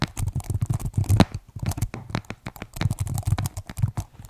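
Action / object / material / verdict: tap / plastic keyboard case and keys / plastic / none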